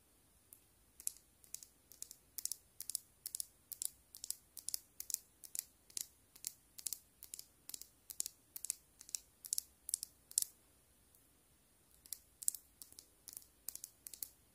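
Long black and white stiletto nails tap and scratch a small, partly full glass nail polish bottle with a green plastic cap, held in the hand. The result is a quick, uneven run of sharp, bright clicks and scrapes with almost no low end, pausing briefly near the end before resuming.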